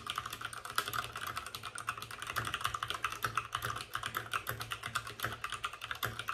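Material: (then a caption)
Plastic. Fingertips of both hands type fast on a white RGB-backlit mechanical keyboard with plastic keycaps and a hollow plastic case. The result is a dense, steady stream of short, sharp clacks with a bright, midrange-focused tone, very little low end, and almost no ring after each keystroke.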